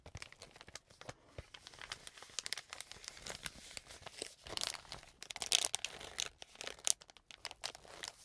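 A soft, filled wet wipes pack made of green plastic film is held in the hands and folded, squeezed and crinkled with the fingers. Dense, bright crackling and crinkling comes in quick bursts with almost no low end. A few sharper, louder crackles stand out near the end.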